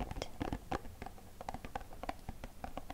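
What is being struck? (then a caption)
Small cardboard box. Fingertips tap quickly on the front and sides of a small, hollow, green printed cardboard box. The taps land in a steady, pattering run of soft, dull knocks with a hollow low-mid body and almost no ring after each one.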